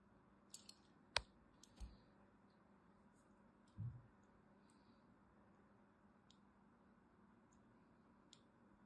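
A thin blade scores a grid pattern into the surface of a solid purple and white striped bar of soap held in a hand, scratching and carving it. Quiet, sparse, sharp clicks and light scrapes sit over a low hiss, with one louder crisp snap early on and a soft dull thump a few seconds later. Each sound stops almost at once, leaving near silence between them.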